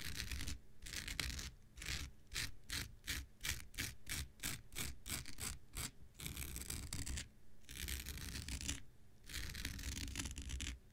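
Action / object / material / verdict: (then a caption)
scrape / synthetic fiber scouring pad / synthetic fiber / none. An X-Acto knife blade scratches across a thin, hand-sized, blue non-woven synthetic fiber scouring pad that is held and slightly bent in the hand. A long, bright, raspy scrape gives way to a run of quick, rhythmic strokes from about 2 to 6 seconds, then more sustained scratching returns. A low rumble sits beneath the hiss throughout.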